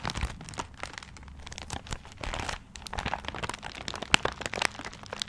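A small gift wrapped in tiger-print wrapping paper is held close to a blue microphone while fingertips and nails scratch and rub the paper. The result is a steady run of dry, bright crinkling and crunching, with quick sharp crackles and one louder snap near the end.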